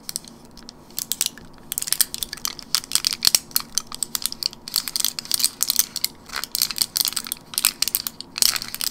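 Fingernails tap and scratch along the plastic bubbles of a long, narrow gum blister strip with a foil backing, full of white gum pellets and held in both hands. Quick, bright, crinkly clicks and scrapes come in irregular bursts, each dying away almost instantly, with nearly no low end beneath them.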